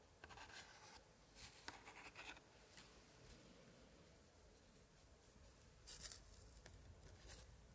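A thin pointer held in a white-gloved hand traces and scratches across the aged paper of an open 1880s scrapbook with glued paper picture cards. Soft, dry, bright scratching and rubbing comes in short bursts over a quiet hiss, with a louder, crinkly flurry near the end.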